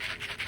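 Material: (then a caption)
Dried gourd. A fully dried loofah gourd from a volunteer plant is shaken, and the loose seeds inside rattle in quick, dry, bright bursts of hissy scratching centered around 2 kHz. The rattling seeds show the gourd has dried out.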